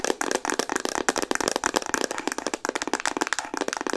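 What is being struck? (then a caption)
Plastic instant camera body. Long nails tap fast on a hollow, pink Instax Mini plastic instant camera. A dense run of sharp, clicky taps follows, hollow and mid-to-high pitched with no low end. Each tap dies away almost instantly.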